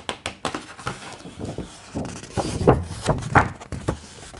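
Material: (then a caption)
Paper. Flat hands and fingertips rub and tap across the thick, glossy paper pages of a large, open hardcover art book, then a page is turned. The sound is a loose series of soft, muffled brushing thumps with dull low body and quick decay, growing slightly louder near the end with the papery swish of the turning page.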